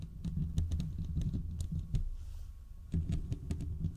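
Fingertips and short nails from both hands scratch the hollow, domed steel mesh grille of a large desktop condenser microphone. The result is dense, boomy low rumbling and thumping, with quick bright clicks and taps scattered over it. A quieter stretch comes near the middle before the scratching picks up again.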